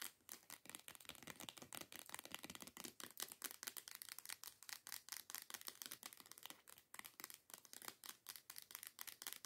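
Long nails quickly tap and scratch a teal plastic body scrub bottle lying on its side. The result is a fast, steady run of crisp, bright clicks and scrapes with almost no low end. Each tap dies away almost instantly.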